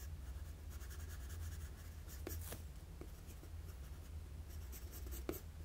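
A wooden graphite pencil makes sketching strokes on a flat sheet of drawing paper, producing quiet, scratchy bursts of bright hiss over a steady low hum. Two sharper taps stand out, the second near the end being the loudest.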